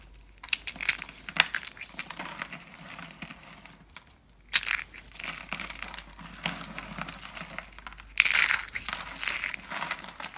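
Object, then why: Dry soap curls. Pink and teal dry soap curls are squeezed and crushed between fingers into thin flakes. Dense, bright, dry crackling and crunching fill the clip, with louder bursts near the start, around four and a half seconds, and just after eight seconds.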